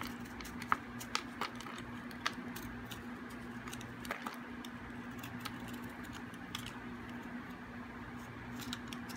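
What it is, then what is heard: Hard, dry bar soap being carved. A metal blade carves a thin remaining piece of hard, dry, solid green bar soap. Sharp little clicks and crisp scraping ticks pop out irregularly over a quiet, steady low hum. The cuts are brief and dry, with almost no ring after each one.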